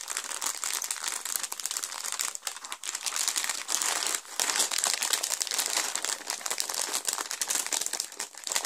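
A clear, thin plastic bag full of small plastic Lego pieces, from the Batman Movie set 70906 The Joker Notorious Lowrider, is pressed flat, then lifted and squeezed by fingertips and palms. It makes a dense, continuous, bright crinkling with no low end, broken only by a couple of brief dips.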